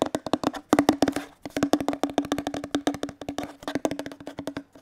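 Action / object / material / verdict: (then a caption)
tap / plastic detergent bottle / plastic / none. A hollow teal plastic detergent bottle is tapped with fingertips along its body and base close to the mic. More than thirty quick, dry taps come in uneven bursts, each with a short hollow knock around 300 Hz that dies away almost at once.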